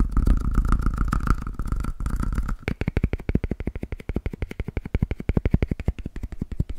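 A palm-sized, solid, yellow Pikachu-shaped squishy toy made of soft foam is held in one hand and tapped quickly with the fingertips of the other. The first couple of seconds are a dense, blurred low thumping over a faint steady mid tone. It then gives way to rapid, distinct, dull, deep taps in a loose rhythm.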